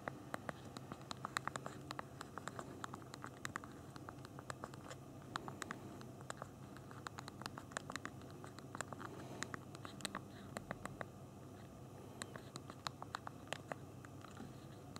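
Thumbs tap rapidly on the small plastic keys of a handheld BlackBerry phone's physical keyboard while typing. Quick, dry, sharp clicks come in uneven bursts and pauses, each dying away instantly. They sit over a quiet, steady low hum.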